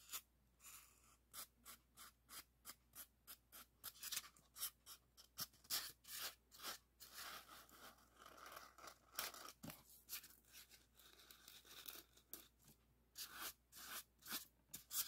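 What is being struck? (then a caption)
Expanded polystyrene foam block. Fingernails and fingertips scratch a long, solid white expanded polystyrene block in dozens of short, separate strokes. Each stroke is a dry, bright, squeaky scrape with almost no low end. The sound is quiet and stops sharply after every stroke, with a few denser, rubbing passages in between.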